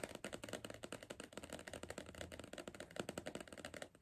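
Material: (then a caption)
Cardboard. Fingertips and nails of one hand tap the side wall of a tall, hollow Pringles cardboard crisp tube held in the other hand. A rapid, uneven run of about 25 quiet, dry, hollow clicks and knocks is heard, each dying away at once with a papery rattle.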